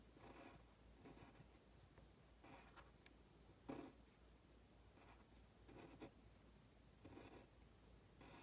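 A pen held in the hand scratches across a thin printed paper worksheet while writing Chinese characters. Soft, dry scratchy strokes come in short bursts with brief pauses between them, over a faint steady low hum. The overall sound is quiet and close.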